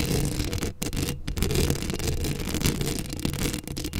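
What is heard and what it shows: Long acrylic nails scratch a hollow steel mesh microphone grille up close, making a continuous, dense rasping scrape heavy in the low end. The sound has brief dips near 0.75 and 1.2 seconds and a bright, hissy edge throughout.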